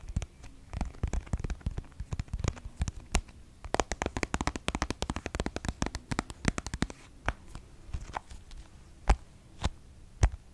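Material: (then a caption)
Plastic. Long nails scratch along and tap on a pink plastic cosmetic squeeze tube, making dense, rapid dry clicks and scratchy rustles for the first seven seconds. The taps then thin out into a few sharper, isolated clicks toward the end. Each click is very short, with a dull, low-heavy body and little bright ring.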